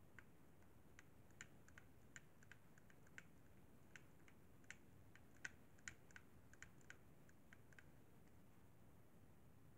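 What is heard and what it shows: Fingertips tap the face buttons and thumbsticks of a hollow white plastic Xbox 360 controller, making quiet, irregular, bright clicks around 1.5 kHz. The short, dry taps come in an uneven rhythm over a steady low rumble.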